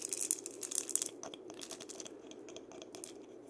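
Fingers scratch and rub the body and wooden handle of a single painted, hollow dried-gourd maraca while it is rotated. The result is a bright, dry, crackling rasp, densest and loudest in the first second, then thinning into softer scattered ticks and scrapes over a faint low hum.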